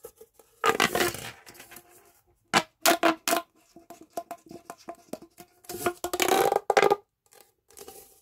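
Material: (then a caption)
Plastic. A hollow red corrugated plastic pop tube is stretched and bent into a curve by both hands and fingertips. Its ridges give off bursts of bright, crinkly popping and clicking, some sharp and short and others longer rattling runs. A faint whistly tone around 785 Hz threads through the gaps between bursts.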